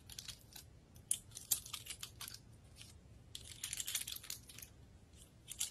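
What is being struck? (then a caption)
Pine cone, woody scales. A large, dry brown pine cone with woody scales is held in both hands while long red nails rapidly tap and scratch across the scales. The result is quiet, dry, bright crackling clicks and scratchy bursts that come in uneven clusters, each dying away almost at once over a faint low hum.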